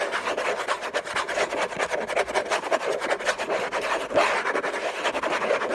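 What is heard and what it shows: Fingernails scratch hard and fast over the logo area of a hollow, rigid orange Hermès cardboard gift box. The result is a dense, continuous rasping and rubbing with a mid-range body and a bright, hissy top, with slightly louder strokes scattered throughout.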